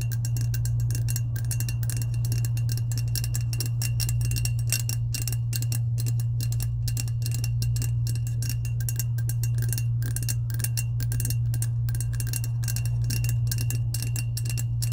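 Long acrylic nails tap rapidly on the side of a medium lilac, hollow, insulated powder-coated stainless steel tumbler held in both hands. Dense, light clicking carries a thin metallic ring around 2.8 kHz over a steady low hum.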